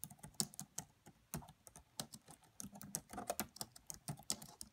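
Slow, quiet typing with long nails and fingertips on the black plastic keys of a red laptop's keyboard. About twenty-one separate short, bright clicks and soft taps come at an uneven pace, each dying away almost instantly, with a faint low thump beneath.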